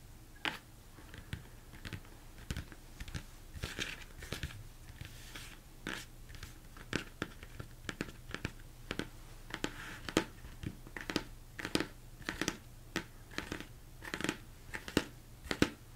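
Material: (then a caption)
Plastic. Fingertips and nails of both hands tap a large, hollow, empty plastic mixing bowl turned upside down on a table. Irregular rapid taps produce short, dull, hollow knocks mixed with bright clicky nail strikes. A faint low steady hum runs underneath the whole time.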